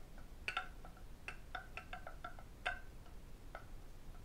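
A medium, hollow, empty red lacquered wooden octagonal tray has its underside and rim tapped with fingertips and metal rings. The result is a quick, uneven series of light, bright clicking taps, each with a short hollow tone that dies away almost at once, over a low steady hiss.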